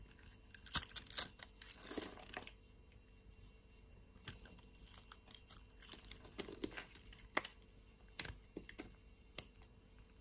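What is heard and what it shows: A solid pink bar of soap, held in a hand with long nails, is cut into small cubes with a metal utility knife. Bright, crisp scraping and crunching strokes come in short bursts, separated by sharp, quick clicks and light taps. Everything sounds dry and close, with almost no low end.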